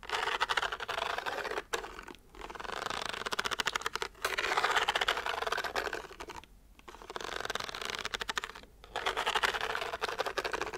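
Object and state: Pleated paper lamp tapped and scratched.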